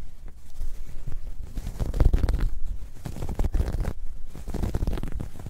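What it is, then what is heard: Knitted fabric bag being scratched. Long dark red nails scratch across the ribs of a soft, hollow, dark grey ribbed knit fabric bag, which is held and pressed into folds over a fur rug. The result is a steady run of deep, muffled scratching strokes, with almost all of the sound sitting in the low range.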